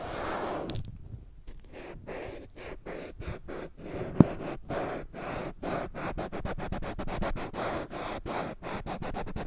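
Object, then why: Small handheld whiteboard with plastic frame. Long painted nails scratch and rub the glossy surface of a small handheld children's whiteboard with a printed alphabet sheet and a bright green plastic frame, held in one hand; the board is thin, flat and solid. A quick run of short, dry scratching strokes follows one another evenly, with a single sharp click partway through. The sound is soft and mostly low to mid in tone.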